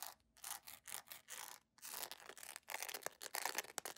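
A beige PVC jelly sandal with a bow and thin straps is held in the hands while long acrylic nails quickly scratch and tap its textured sole. The result is a fast run of bright, dry, rasping bursts with crisp clicks and almost no low end.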